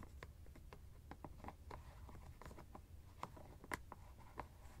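Fingernails tap and scratch the white plastic screw cap of a teal fabric ice bag. The sound is a quiet, irregular string of short, dry clicks and light scratches, with a tonal edge near 2 kHz, over a steady low rumble. Each tap dies away almost instantly.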